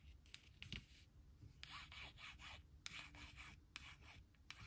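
Long nails and then a white plastic stylus trace the letters on a thin, flat laminated cardstock word strip reading "who will / who'll," which rests on a woven blanket. Quiet, dry rubbing and scratching strokes sound bright and raspy, with short scrapes starting and stopping over a soft low rumble.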